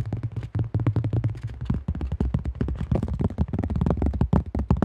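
Fingertips and nails rapidly tap and grip a thin-shelled, cream AGL plastic disc golf disc held close to the mic. The result is a dense, quick run of short, hollow plastic taps with a strong low, thumpy body and very little ring. Scratchy gripping noises sit between the taps.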